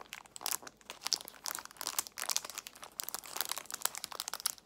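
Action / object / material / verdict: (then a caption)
scrape / plastic box of nail tips in cellophane wrap / cellophane / none. A clear plastic box filled with nail tips, in a cellophane wrap, is handled, squeezed and crinkled with long nails. A dense run of sharp crackling and crinkling plays out, bright and crisp with almost no low end.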